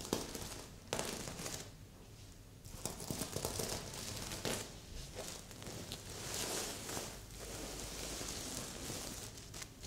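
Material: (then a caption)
Plastic sequins. A medium, soft stuffed heart-shaped pillow covered in red and silver plastic sequins is scratched with long polished nails. Bright crinkling, rustling scrapes come in uneven bursts, with brief quiet pauses between passes.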